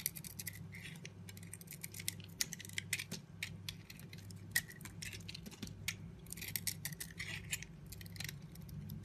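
A utility knife scrapes and carves curling shavings off a solid yellow soap bar held in the hand. Quick, bright, crisp scraping strokes come in dense bursts, centered near 1.9 kHz, over a steady low hum. Each shaving stroke is short and dry with almost no ring.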